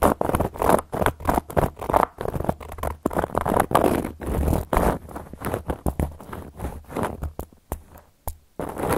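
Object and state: Cork coaster.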